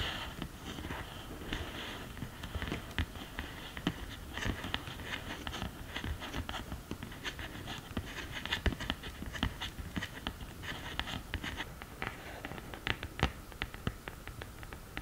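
Long green nails scratch and tap the pan area of an open cardboard eyeshadow palette, then its upright printed lid. The result is a steady run of quick, dry clicks over a grainy, bright scratching texture, with a soft low rumble underneath and no speech.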